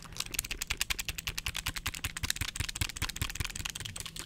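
A small red clamshell plastic handheld game console is held in the hands and tapped quickly with the fingertips close to the microphone. About two dozen short, dry plastic clicks come in a rapid, uneven run, each with a bright top and a soft low thump. A faint steady low hum sits underneath.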